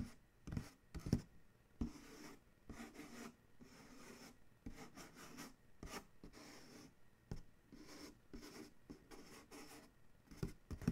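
A fingertip scratches and traces the print on the side of a large corrugated cardboard shipping box, then a hand taps the panel. Quiet, dry rubbing and scratching mixes with soft, dull taps that die away almost instantly, with most of the energy low in pitch.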